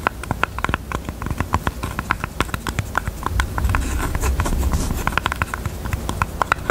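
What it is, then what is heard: Jewelry box. A pink jewelry box is tapped with the fingers in quick, uneven runs of short, dry taps. Each tap carries a clear hollow tone around 1 kHz over a soft low rumble and stops almost at once. Midway the taps blur into a denser, rougher patter before separating again.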